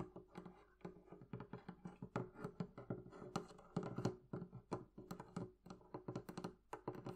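Long nails tap quickly across the curved wooden top and sides of a hollow, closed wooden barrel-shaped chest with metal bands, giving roughly thirty quiet, separate taps. Each tap is a short, hollow, woody knock with a low body resonance near 120 Hz that dies away almost at once.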